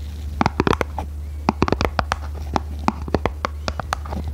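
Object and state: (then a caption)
Hollow printed cardboard box. Long red nails tap and scratch a small, hollow red printed cardboard box held in both hands. A rapid, uneven series of short, dry, hollow taps with light scratching sits over a steady low hum, each tap dying away almost at once.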